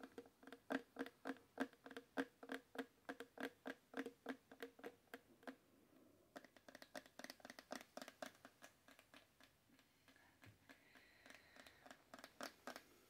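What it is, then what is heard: Small amber glass bottle. Long dark-painted nails tap and scratch a small amber glass oil bottle with a black screw cap and a green-white label, apparently full of liquid and held in both hands. Dozens of quick, dry, clicky taps carry a low hollow tone and bright edges, coming in an uneven patter. Partway through they turn into lighter, faster scratchy clicking before a few louder taps return.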